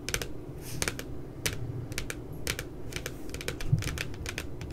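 Fingertips tap quickly on the lower part of the glossy paper cover of a spiral notebook with a cute puppy design. The result is a rapid, uneven run of short, dry, crisp clicks with bright edges, over a soft low hum. Each tap dies away almost instantly.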